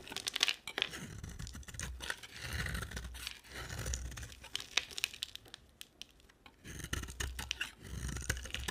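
A utility knife blade carves and scrapes a dry, solid oval yellow bar of soap with a blue rim, held in the hand. Bright, crisp scraping and crumbly crackling come in bursts of quick ticks, with a near-silent pause partway through. Each scrape ends in a dry, short shaving sound.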